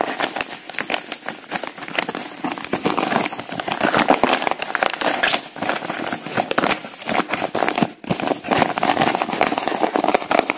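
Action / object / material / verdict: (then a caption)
scrape / kraft-paper padded envelope / paper / none. A medium-size yellow kraft-paper padded mailer, flat and apparently empty, is rubbed, crinkled and flexed by fingertips and thumbs. The result is dense, continuous papery crackling and crinkling with bright rustle and a brief lull near the end.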